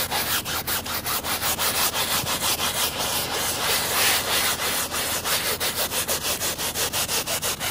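A hand scrubs the soapy backing of a woven fabric rug with a white plastic scrub brush with blue bristles, moving in quick back-and-forth strokes. Each pass makes a bright, hissing, bristly scrape, forming a fairly steady rhythm of about three strokes per second with almost no low end.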